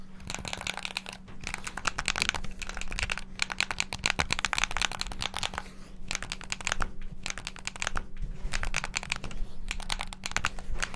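A black, hollow plastic Xbox-style gamepad is held in both hands near the mic while its buttons and sticks are rapidly tapped and pressed with the fingertips. Dense runs of sharp, dry plastic clicks come in quick bursts separated by brief pauses, over a steady low hum.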